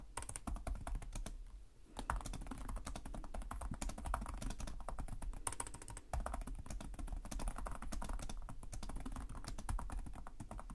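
Fingertips with short nails type continuously on the plastic chiclet keyboard of a black laptop resting on a desk, producing rapid, dry, clicky key taps that stop almost instantly. The typing runs steadily for about 11 seconds, with brief lulls near 2 and 6 seconds, over a constant low hum.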